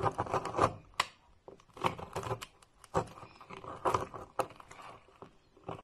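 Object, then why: Bar of soap cut with a knife. A metal knife blade cuts and scrapes a solid, palm-sized, pink and orange marbled bar of soap held in the hand, shaving crumbly flakes onto a pile. Crisp, crunchy scraping strokes come in bursts of dry crackle, with short quiet gaps between them.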